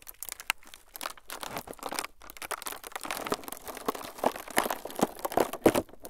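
A thin, clear plastic film sheet is squeezed and crinkled by the fingertips of both hands in front of the microphones. The result is a dense, continuous crackle of short, dry crinkles in the mids and highs, with almost no low end. Sharper, louder snaps stand out toward the end.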